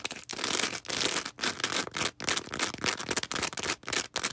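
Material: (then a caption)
Foam. A small star-shaped green foam sponge with a sparkly porous surface is held in the hands and scratched and rubbed with long red acrylic nails. Bright, hissy scratching strokes come in uneven bursts separated by brief gaps, with little low end.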